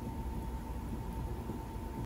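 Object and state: Nothing is struck.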